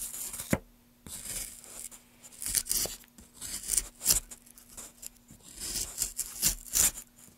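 A gouge is pushed in repeated strokes along a solid pale wood block held in gloved hands, raising curled shavings. Each stroke gives a short, bright, dry scraping tear, mostly high in pitch, with a faint steady low hum underneath.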